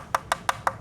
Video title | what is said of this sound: MODIF VARIO PAKE TEKNIK HYPERCAR‼️ Carbon Vacuum Infusion Vario Pertama di Indonesia? | salah satu cara biar bedain apa suaranya nyaring lebih ada ya kalau infusion lebih nyaring